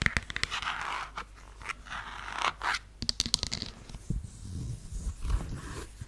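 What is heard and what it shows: Long nails scratch along the sole side and ankle strap of a beige faux suede heeled sandal held sideways. Dry, bright scratching strokes mix with sharp clicks and ticks, then soft low rubbing toward the end.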